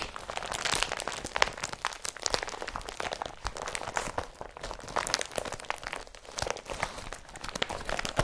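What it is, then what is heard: Woven polypropylene carrier bag. An empty blue IKEA BRATTBY woven polypropylene carrier bag with a yellow strap is crumpled and rubbed with the fingers. It makes a dense, continuous crinkling and crunching texture of bright, sharp crackles with little low end. The level rises and falls with the handling throughout.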